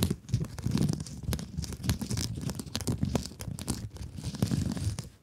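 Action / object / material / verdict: scrape / plastic mesh scrub sponge / plastic mesh / none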